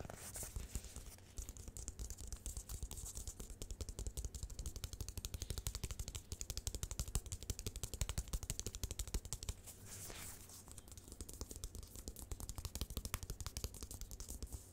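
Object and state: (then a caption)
Fabric-covered rubber mouse pad being scratched. Long nails scratch quickly across the textured fabric top of a black Belkin mouse pad with a flexible foam/rubber base, held upright. The result is a dense, rapid run of short scratchy strokes with a heavy low thump beneath and a bright hiss on top, easing briefly around the ten-second mark before picking back up.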